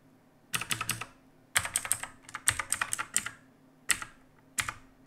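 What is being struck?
Mechanical keyboard with plastic keycaps.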